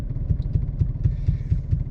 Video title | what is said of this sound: 2020 Chevy Blazer 2LT Review | it sounds like i'm dribbling a basketball if you just tap it